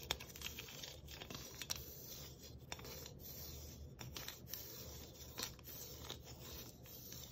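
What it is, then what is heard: Galvanized tin Christmas ornament. Long nails scratch and tap a thin galvanized tin Christmas ornament with a tree cut-out. The result is a quiet, bright, crinkly rasping with sharp taps scattered through it, over a steady low hum.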